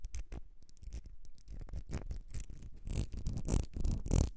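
Long red nails scratch and tap a small ribbed glass perfume bottle with a gold metal cap, held in the hands. The result is a quick, uneven run of soft scratches and light taps that grows louder toward the end. It is dominated by low rumble, with brief bright, dry scraping bursts.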